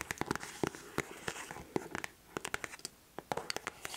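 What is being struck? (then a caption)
Leather boot upper. A white smooth leather Dr. Martens boot held close to the microphone sounds hollow as long nails tap and scratch its leather upper. Sharp, dry clicks land in quick irregular bursts over a soft scratchy rustle, each tap with a low hollow knock and a bright edge that stops almost instantly.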